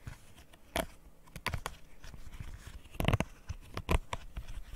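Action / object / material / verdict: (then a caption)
tap / silicone pop-it fidget toy / silicone / none. Fingernails tap and scratch across the hollow bubbles and edge of a rainbow square silicone pop-it fidget toy. Irregular soft, dull taps with brief bright clicking and scratchy rustle between them, all dying away almost instantly.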